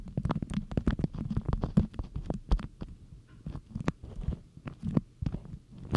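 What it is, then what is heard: Beeswax cotton food wrap. Long acrylic nails and fingertips scrunch and rub a thin, stiff beeswax cotton food wrap with a bee and flower print, shaped into a hollow cone. The result is a dense, muffled crinkling made of rapid crackles, mostly low and thumpy, with short bright ticks that stop almost instantly.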